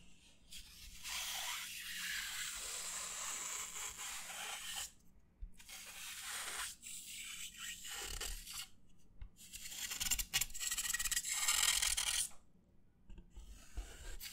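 Fingers rub and scratch the surface of a white disposable paper plate held upright, producing bright, dry scratching and rasping in long bursts with short quiet gaps. The texture is hissy and papery, dominated by high frequencies, with faint low thumps where the fingers press against the plate.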